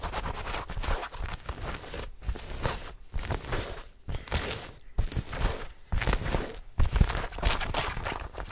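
Long fingernails scratch fast and hard across dark blue denim jeans, over the fabric and seams near a visible back pocket, held close to the microphone. The result is dense, broadband rasping and scuffing with a heavy low rumble from handling, coming in bursts separated by several brief pauses.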